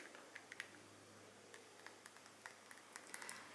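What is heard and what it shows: A small DKNY Red Delicious perfume bottle, the apple-shaped red glass one with a silver cap, is tapped with long nails. Quiet, sharp clicks ring briefly with a bright tone near 2 kHz over a soft hiss, and about ten taps are heard unevenly spaced.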